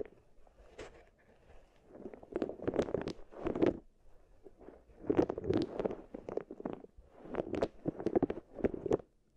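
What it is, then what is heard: Wooden beads rolled in wooden bowls. Long-nailed fingers press, rub and roll solid wooden balls inside two small wooden bowls. Soft woody clattering and rolling clicks come in several swelling bursts, with a warm low-mid body and brief bright ticks. Quiet pauses fall between the bursts.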